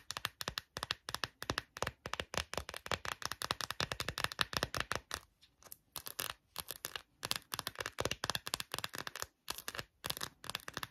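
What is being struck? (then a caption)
Quilted silicone phone case. Long nails rapidly tap and scratch the raised quilted back of an empty, hand-sized, hollow pink glossy phone case, likely silicone or rubbery plastic. The result is a dense run of short, bright clicks and scrapes with almost no ring, broken by a brief pause about halfway through.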